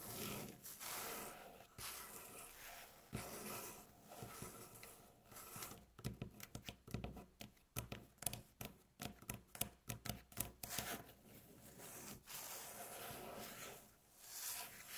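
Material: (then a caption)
Wood. Long natural fingernail tips scratch and tap on a solid, light-colored flat wooden tabletop. Soft, bright scratching in the first seconds gives way to a run of quick, dry taps with almost no ring, then returns to quiet scratching.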